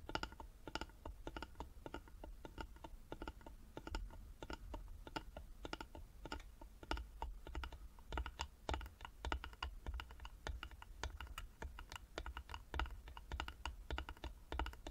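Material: Wood.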